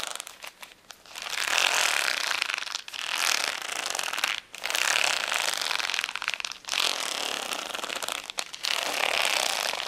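Long nails scratch across the acrylic gems of a flat plastic rhinestone sticker sheet resting on a towel. After a few light ticks, the sound becomes bright, crackly scraping in five long passes, each separated by a brief pause.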